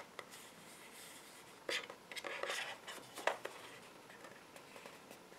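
Fingertips and short nails scratch and tap the front and back of a small, hollow, empty-looking cardboard retail box for puffy paint, with a clear plastic window, held in the hands, while other paint bottles sit nearby untouched. Quiet, dry, bright scratching runs throughout, broken by irregular light taps and a few louder scraping bursts that die away almost instantly.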